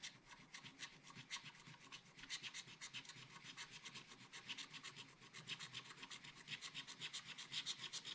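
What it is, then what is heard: Scratch art paper being scratched. A wooden stylus scratches a black coated scratch art paper page to fill in a macaron. Quick, dry, bright scratching strokes repeat at a steady rapid pace, about four per second, with almost no low end. Each stroke stops short, with no ring.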